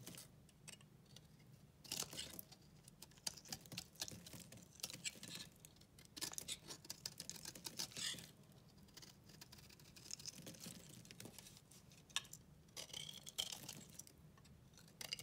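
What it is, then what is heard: Bar of soap being shaved. A solid rectangular bar of white soap, held in the hand, has its surface shaved and scraped with the blade of a pink-handled utility knife. The quiet clip is full of dry, crisp, bright scratching and crackling, arriving in uneven bursts of short, sharp strokes separated by softer, near-silent stretches.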